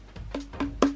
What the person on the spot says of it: on a l'impression que ça sonne creux